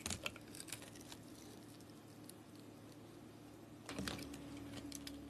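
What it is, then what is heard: Glitter-coated soap bar being carved. A utility blade scrapes into a palm-sized, solid pink soap block with a glitter crust, producing powdery shavings. Crisp, bright scratching ticks cluster at the start, fade into a quiet steady hiss, then pick up again near the end over a low hum.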